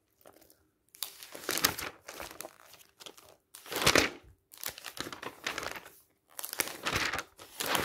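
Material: Glossy paper.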